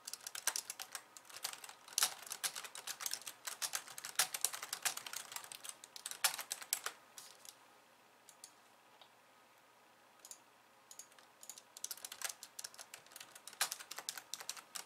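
Long painted nails type on a pink low-profile plastic keyboard with white keys resting on a wooden desk. The result is fast, bright, clicky taps with almost no low end. The typing thins to a few scattered taps in the middle, then picks up again in a steady run.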